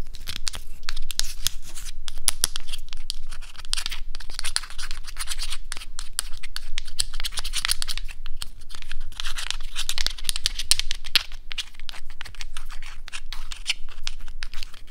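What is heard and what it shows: A few small, solid natural cork wine stoppers are held close in both hands and twisted and scratched against each other with the fingertips. This makes a dense, continuous run of dry, bright scratching and squeaky rubbing with rapid crackly bursts, over a steady low rumble.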